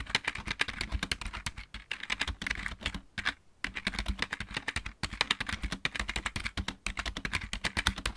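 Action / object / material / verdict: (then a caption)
tap / plastic mechanical keyboard / plastic / none. Both hands type rapidly with their fingertips on a full-size backlit plastic mechanical keyboard. The result is a dense stream of bright, sharp key clicks over a low thump, with a brief pause around the three-second mark before the typing resumes.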